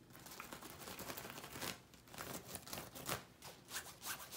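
An open hand with long painted nails rubs and scratches a large hanging shower curtain of soft, flexible, shiny pinkish-gold satin-like synthetic fabric with bands of gold sequins. The result is quiet, bright, scratchy rustling in quick uneven bursts, with a crisp hiss and faint sequin clicks over a soft fabric swish.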